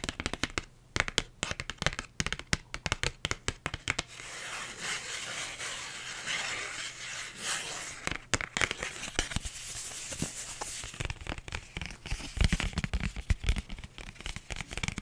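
A thin, flat pink paper envelope is held up and tapped and scratched with long nails and fingertips. Quick, crisp taps come first, then a steady papery scratching and rustling with a bright, crinkly edge. The clip ends with sharp tapping mixed back in with the scratching.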